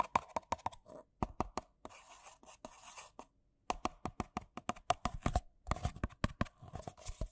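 Two identical empty white paper coffee cups with a printed "Coffee" logo, hollow and thin-walled, are held in both hands and tapped and knocked with fingertips and nails, with some rim-to-rim contact. Quick, dry, hollow papery knocks come in fast bursts, with a softer scratchy rustling stretch in between. After a brief pause near the middle, the rapid tapping resumes.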